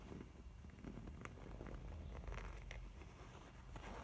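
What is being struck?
Faux leather zip pouch.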